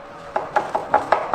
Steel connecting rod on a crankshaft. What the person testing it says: There is play and excessive clearance.